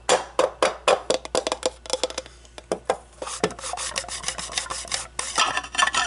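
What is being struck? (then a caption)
Clear acrylic display cube. An empty, hollow clear acrylic display cube is handled, scratched and tapped by long blue-painted nails. Quick, sharp plastic taps with a faint ring near 520 Hz come first, followed by a stretch of continuous bright, raspy scratching mixed with more taps.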